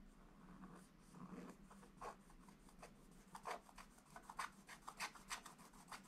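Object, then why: Wax-coated scratch-art paper page scratched with a wooden stylus. A wooden stylus scratches dense strokes over the presents area of a flat, black, wax-coated scratch-art paper page in a book. The continuous dry, raspy scratching comes in quick, uneven strokes with bright, papery grit. A faint low hum sits underneath.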